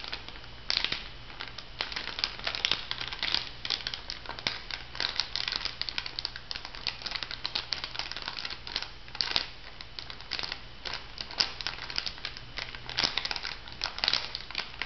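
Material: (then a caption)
Foil laminate. Fingernails crinkle and tap a pink laminated foil-and-plastic bath salt sachet held up by its edge. The result is a steady stream of crisp, bright crackles and quick ticking taps over a faint low hum.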